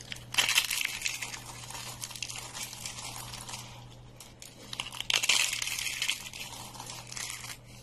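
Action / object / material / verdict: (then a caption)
scrape / thin green soap sheets and flakes / soap / none. Both hands crush and crumble a stack of thin, brittle, dry green soap sheets, flakes and curls. Dense, bright crackling and crunching comes in two louder bursts near the start and middle, with softer crinkling between. A faint steady low hum runs underneath.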